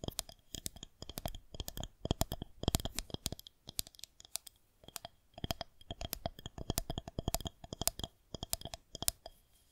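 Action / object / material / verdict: tap / plastic rolling pin / plastic / none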